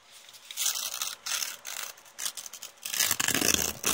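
A crumpled brown kraft paper bag with teal print is held in both hands and torn and ripped by fingers with long painted nails. Bright, papery crinkles and tearing rasps come in short, uneven bursts. The sound grows louder and denser toward the end as the tearing becomes continuous.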